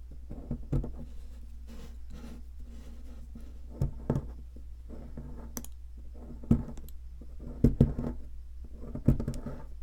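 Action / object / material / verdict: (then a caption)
scrape / plaster block worked with a metal pick / plaster / none. A metal pick scratches and chips into the center cavity of a solid white plaster ammonite-shaped fossil excavation block. Soft, irregular scraping runs throughout, broken by sharp, short clicks of chipping, all over a steady low hum.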